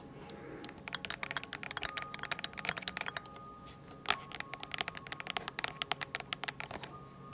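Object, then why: Plastic keyboard keycaps tapped with fingernails. A mint-blue plastic computer keyboard, held at an angle close to the mic, is tapped on its round plastic keycaps with long nails. The result is a fast, irregular run of sharp, bright clicks with almost no ring, plus a louder cluster of taps just after four seconds. A faint steady tone sits underneath.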